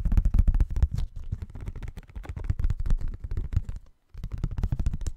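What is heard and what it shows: A thin folded paper Christmas card with a tree print, held in both hands close to the microphone, is rubbed and flexed by fingertips. It makes a dense, irregular run of soft, deep crinkling thumps and rustles with little brightness. The sound stops briefly near the end, then resumes.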